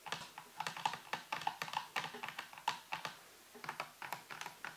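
Both hands type and tap with fingertips and nails on a full-size black plastic computer keyboard with a white base and hollow housing, resting on a table. About two dozen quick, clicky taps sound, each dying away almost at once, with a hollow, plasticky ping near 870 Hz and a bright clatter on top. A brief pause falls just past the three-second mark before the typing resumes.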